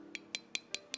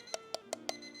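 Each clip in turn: First: sealed canning jar lid, solid. Second: unsealed canning jar lid, sounds hollow.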